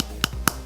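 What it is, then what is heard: Hard plastic doll helmet. Two quick taps on the dome of a hard plastic doll's skating helmet with little cat ears, made near the microphone to show the plastic is hard. Each tap is a short, sharp, bright click centred around 1.3 kHz, dying out almost instantly over a low steady hum.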